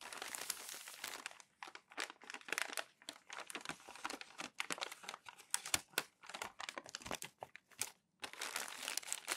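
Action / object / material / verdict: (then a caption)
scrape / glossy magazine paper pages / paper / none. Hands press and rub crumpled glossy magazine pages flat on a growing stack and turn the sheets over. Dense, bright crinkling and crackling comes in quick bursts separated by brief silent pauses, with almost no low end.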